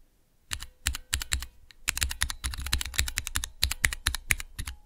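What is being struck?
Plastic mechanical keyboard switch tester.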